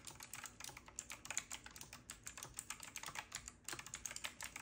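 Fingertips of both hands type rapidly on a retro typewriter-style mechanical keyboard with round plastic keycaps and a metal-looking frame. Fast, bright, clicky keystrokes follow one another closely with very short decay, forming a steady clatter.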